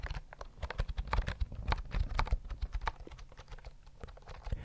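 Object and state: Plastic keyboard, typing.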